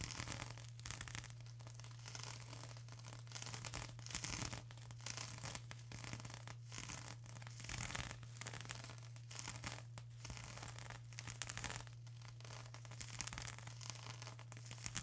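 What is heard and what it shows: Long acrylic nails rapidly scratch a flat sheet of plastic bubble wrap, making quiet, dense, bright scratching and crinkling in repeated bursts over the full 15 seconds. A steady low hum runs underneath throughout.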